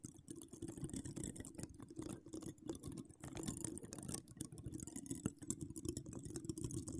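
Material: Metal mesh.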